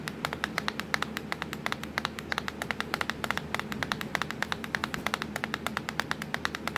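Long pointed nails tap quickly and steadily across the black plastic keys of a laptop keyboard. Each tap is a short, dry, bright click with almost no ring, over a faint low steady hum.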